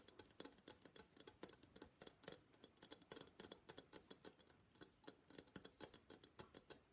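Long black nails rapidly tap a hollow gold-and-black Venetian face mask, likely papier-mâché, held in both hands. About forty short, bright, dry clicks come in quick uneven bursts with brief pauses. Each tap stops almost instantly with very little low end.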